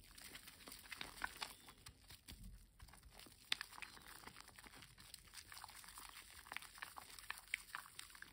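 A solid rectangular green bar of household soap, wet and lathered, is turned and rubbed between both bare hands over a basin of foam, the palms and fingers working up lather. The result is a quiet, steady, bright, wet squishing and crackling of foam, with small sharp pops and clicks scattered throughout and almost no low end.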